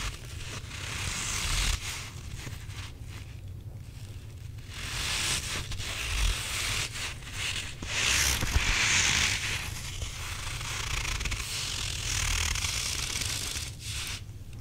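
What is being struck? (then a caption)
Stretchy rubber squishy toy with granular filling. A stretchy grey rubber possum toy with a gritty-sounding filling is squeezed with the fingertips, then pulled lengthwise between both hands. This produces a continuous crunchy, scratchy rustle with bright grit and a low, muffled rumble underneath, swelling and easing with each squeeze and pull.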